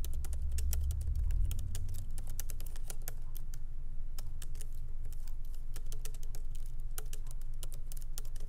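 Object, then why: Laptop keyboard with plastic keys in aluminium body. Light fingertip typing with both hands on a MacBook Pro laptop keyboard, its small plastic keycaps set in an aluminum body, resting on a wooden desk. Quick, irregular, bright clicks patter steadily over a low, constant hum that is loudest in the first second and a half.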